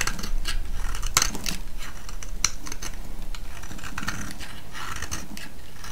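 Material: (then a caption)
Soap. A solid, oval, pale yellow round soap held in the hand is shaved with a metal blade. Quick, uneven scraping strokes repeat over a steady low rumble, with a few sharp, bright ticks standing out as the blade bites.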